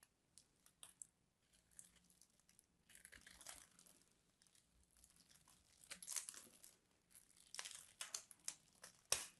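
A craft knife scores and scrapes the surface of a solid purple embossed bar soap, and flakes crumble off. Quiet, bright, crinkly scraping and crunching come in irregular short bursts, with a few sharper crunches toward the end.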